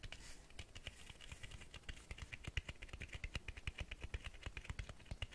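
Fingertips tap quickly on the cloth-covered board spine of a Black Berserk vol. 2 hardcover book held upright. The result is a fast, uneven stream of soft, dull taps with a low thump and a light, bright tick, each dying away almost instantly over a quiet hiss.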